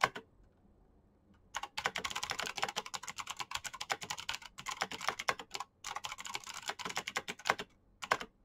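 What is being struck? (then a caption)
Plastic mechanical keyboard. Fingertips type fast and densely on a black plastic mechanical keyboard with backlit keycaps and clicky switches. A single brief click opens the clip, then after a short silence comes a steady stream of sharp, bright clacks, broken only by a few short pauses. Each keystroke is dry and short, with almost no low end or ring.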